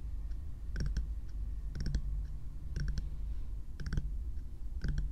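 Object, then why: Plastic bear-shaped night lamp. Long nails tap on the hollow frosted plastic or silicone shell of a small lit bear-shaped night lamp held close, making quick bright clicky taps. The taps come in short bursts about once a second over a steady low hum.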